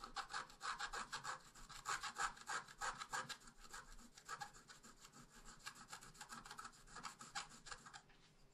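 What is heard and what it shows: A wooden stylus scratches the trunk of a tree design into a flat, black-coated scratch art paper sheet with quick back-and-forth strokes. The result is a steady run of dry, rasping scratches, bright in tone, at about three strokes per second, fading slightly toward the end.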